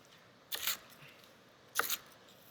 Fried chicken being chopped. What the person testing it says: you can hear how crispy that chicken is